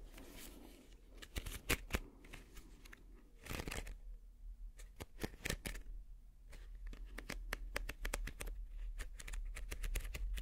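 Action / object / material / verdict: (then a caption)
scrape / woven wicker basket / wicker / none. A small, hollow, empty woven wicker basket is held upside down in both hands and scratched slowly with the fingertips and nails. Quiet, dry crackling scratches and sharp irregular clicks rise and fall over a steady low hum, with a brief louder burst of rustling partway through.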